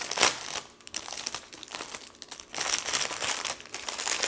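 Two hands with painted nails press, rub and lift a full, thin clear plastic cellophane bag holding two stacks of paper journal cards, crinkling the plastic film. The sound is bright, dry crackling with no low end: a loud burst at the start, quieter rustling through the middle, and a denser, louder stretch of crinkles in the second half.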